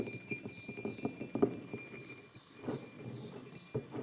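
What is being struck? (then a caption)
Glazed ceramic mug. Fingertips of both hands tap the sides of a white glazed ceramic mug resting on a wooden table. The taps are quiet, quick and soft-edged, with a dull low-mid tone and almost no ring, over a faint steady high hum.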